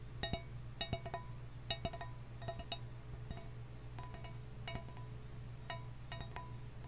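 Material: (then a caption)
Copper. A copper mug is tapped in quick clusters of light strikes, each giving a short, bright metallic clink with a faint ring. A steady low hum sits underneath throughout.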